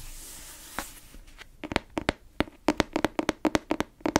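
A solid grey fabric-covered hardcover book or notebook, held upright, is tapped on its cover with long nails and fingertips. After a soft, hissy brushing at the start, a quick series of short, dry taps with a low hollow knock follows, each stopping almost at once.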